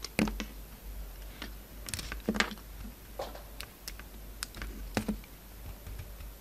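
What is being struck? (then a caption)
Bar of soap shaved with a knife blade. A yellow-handled utility knife blade shaves an oval, hand-held solid soap bar with an orange coating and pink interior. It makes a quiet, irregular series of crisp, short scraping clicks and brief bright shaving strokes. A steady low hum runs underneath.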